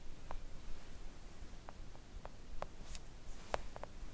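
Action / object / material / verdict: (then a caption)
tap / silicone nail art mat / silicone / none. Long acrylic nails gently tap a thin, solid, flat pink silicone nail art mat lying on a table, with the hands briefly leaving the frame partway through. The taps are soft, short, dull clicks centered around 600 Hz that die away almost instantly. They are spread irregularly over a quiet, low background rumble.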